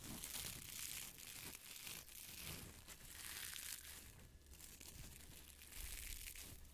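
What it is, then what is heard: Nylon mesh scrubber. A small, soft, airy yellow-green nylon mesh pot scrubber is squeezed, crinkled and rubbed with the fingertips. The result is a steady, bright, hissy crinkling with soft low rustles and thumps underneath, swelling and easing as the mesh is worked.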